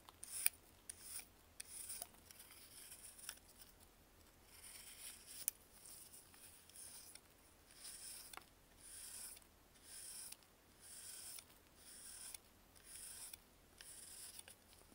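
A metal knife shaves and scrapes slices off a solid, compressed, purple-tinted baking soda block held in a gloved hand. Quiet, bright, crisp scraping bursts repeat in a steady rhythm, with sharp little crunches and clicks between strokes. A faint low hum runs underneath throughout.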